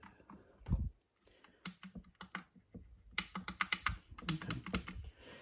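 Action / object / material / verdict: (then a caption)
tap / plastic mechanical keyboard / plastic / none. Fingertips press the keys of a compact retro Epomaker "Bloodshot" mechanical keyboard, with cream and green plastic keycaps and a plastic case, resting on its red box, and touch its pink knob. About 17 short, dry plastic clacks with a thudding low end are heard, scattered at first, then a quicker run of bright typing taps in the second half.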